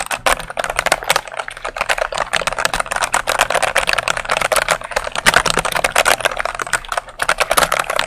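Fingertips with long nails press and tap quickly on the plastic keycaps of a full-size dark mechanical keyboard held up close. A fast, continuous stream of sharp, bright clacks with very short decay sits over a faint steady low hum, with brief pauses in the typing.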